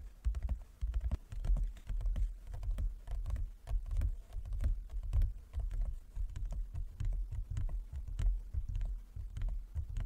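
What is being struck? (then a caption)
Wooden folding chess board box. A large closed wooden folding chess board box, hollow with inlaid light and dark squares, is tapped with the fingertips and long nails of both hands. Rapid, irregular clicky taps land over a low, hollow thump, each dying away almost at once.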